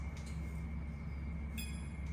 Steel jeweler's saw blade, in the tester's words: that kind of high-pitched ting-ting. If you flick it with your nail, you should hear that noise to know that it's in there tight enough.